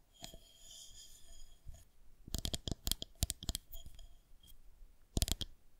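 Long painted nails tap and scratch along the surface of a long, solid white plastic fondant rolling pin held horizontally in both hands. Quick, sharp, bright clicks come in clusters, with softer scratching and faint high ringing tones between them.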